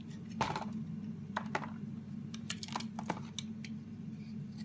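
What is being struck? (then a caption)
Bar of soap shaved with a metal blade. A metal razor blade shaves the edges of a solid green bar of soap held in the hand, cutting it into curls. Short, crisp scraping strokes with a bright edge come at irregular intervals over a steady low hum. Each stroke stops quickly with almost no ring.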